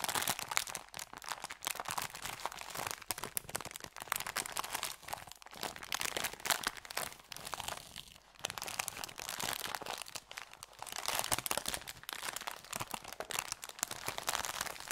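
A thin brown kraft paper bakery bag with red print lies flat and empty on a felt mat while fingertips press, rub and crinkle the paper. The result is dense, continuous crinkling and crunching, bright and crisp with almost no low end, in quick overlapping bursts with a brief lull around the middle.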